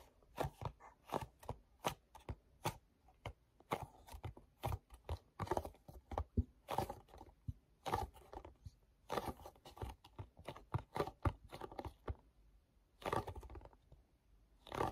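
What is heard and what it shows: Fingertips tap and rub on the back panel of a small, hollow, glossy paperboard mochi box. Quick, dry, papery taps and brief scratchy rubs come in an uneven stream, each with a soft low thump from the hollow box and almost no ring.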